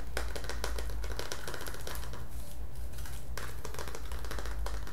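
A green printed metal Milo tin, hand-sized and hollow with its lid on, is held in the hands and tapped with the fingertips on the lid and sides. The result is a rapid, irregular stream of light, crisp tin clicks and taps over a steady low hum.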